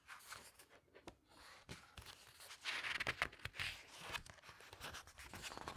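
Fingertips with long nails turn and flatten the glossy paper pages of a large open hardcover book resting on a table. The result is quiet, bright paper crinkling, swishing and rubbing, with several sharper crackles in the middle as pages flip and are smoothed down.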